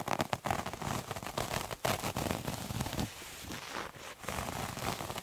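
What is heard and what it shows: A multicolored striped terry cloth towel with a visible loop texture is scratched with fingernails. Dense, dry crackling scratches come in quick bursts, ease into a softer steady rustle, then pick up again.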